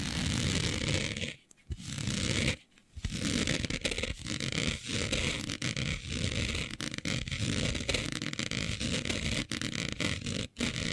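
Long nails scratch across a smooth synthetic fabric with a planet print laid flat, making a steady, dense rasping that runs from a low rumble up to a bright hiss. The scratching goes on almost without a break, with brief quiet pauses near 1.5, 2.7 and 10.5 seconds.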